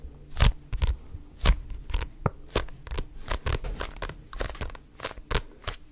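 Fingertips grip a red paperback book and riffle and flick its paper pages. Sharp, bright papery flicks and crackles come in uneven bursts over a low background rumble, each snap dying away almost instantly.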